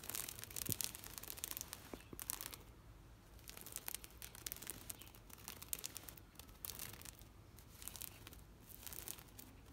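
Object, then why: Woven plastic mesh shade net. Long nails and fingertips scratch and rub across a thin, taut, green woven plastic mesh shade net. The result is quiet, dry, bright scratching in uneven bursts, with rasping sweeps and quick crackles mostly in the high frequencies over a faint low rumble.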